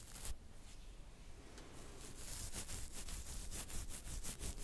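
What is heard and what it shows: Fingertips and nails scratch and rub the hair of a full beard at the side of the jaw. The result is a quiet, dry, rasping texture with a low rumble underneath. Bright, brushy strokes repeat at an uneven pace and grow denser and slightly louder toward the end.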